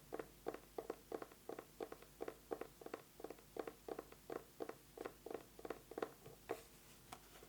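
An eyeglasses case is tapped quickly with fingernails in a steady, rhythmic run of short, dry clicks. Each tap dies away almost at once and carries a mid-pitched hollow tone near 460 Hz, with little low rumble or high hiss.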